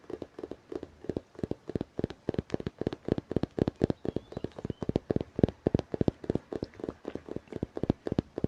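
Fingers tap on a book in quick, dense runs, making many short, dry taps with a soft low-mid thump and faint scratching between them. The taps die away almost instantly and come in uneven clusters throughout.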